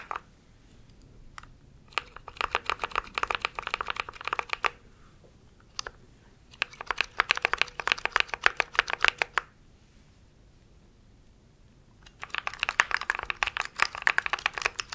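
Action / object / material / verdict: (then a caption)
tap / mechanical keyboard with plastic keycaps / plastic / none. A compact mechanical keyboard with plastic keycaps, held diagonally near the mic, is typed on fast with fingertips. Three bursts of rapid, bright clacking, with a few stray taps between them, give short dry clicks that stop instantly with no ring.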